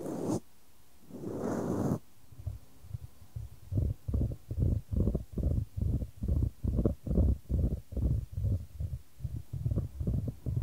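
A solid, light wooden ball is rolled around a shallow square wooden tray held in white-gloved hands, with the tray tilted to send it rolling. After two brief broadband swishes, the clip settles into a steady series of low, hollow wooden rumbles and knocks, each swelling and fading as the ball travels and strikes the tray's sides at a rolling pace of just over two per second.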